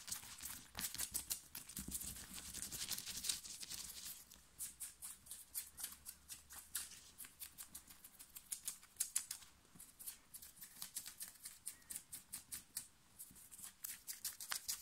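Long nails scratch fast and hard over the print and chest of a black cotton printed t-shirt worn on the body. Dense, bright, dry scraping strokes come in rapid bursts with little low end, the motion blurring into a continuous rasp in the first few seconds before separating into distinct quick scratches.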